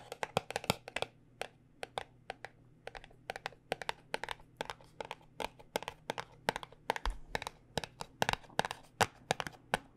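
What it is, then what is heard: Cardboard cosmetic box. Long dark-painted nails tap a small white paperboard cosmetic box as it is rotated, producing a rapid, uneven stream of sharp, dry, papery clicks with a hollow tone. Each tap dies away almost instantly over a faint steady low hum.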